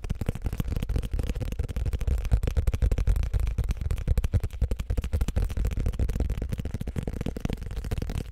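A thick, solid paperback book with a glossy printed card cover is held in both hands in front of the microphones while fingertips rapidly tap and scratch its cover and edges. The result is a fast, continuous stream of dull, low, thumpy taps with short scratchy textures, each dying away almost instantly.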